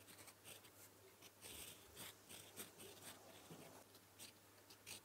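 A gold metal fountain pen nib held in the fingertips writes blue Korean characters on a flat sheet of lined paper. The nib makes soft, bright scratching strokes in short bursts against the paper surface over a quiet low hum.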